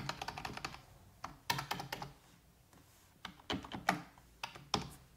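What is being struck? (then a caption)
Plastic computer keyboard. A full-size black plastic computer keyboard on a wooden desk is typed on with fingertips and long red-painted nails. A quick run of crisp key taps is followed by a pause, then slower, scattered clacks. The taps have a bright click over a light low thump.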